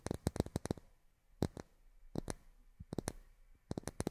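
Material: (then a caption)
Plastic. Long fingernails tap miniature plastic drinking glasses in quick clusters of sharp, dry clicks. About sixteen taps sound in all, a fast run at the start, then scattered single and paired taps. Each is bright and clicky with a light low knock and almost no ring.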